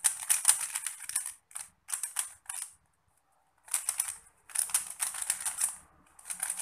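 A small 3x3 plastic Rubik's cube is held in both hands while fingertips turn its layers. Quick bursts of dry, bright mechanical clicks rattle out in irregular clusters, separated by brief silent pauses, with each click dying away almost instantly.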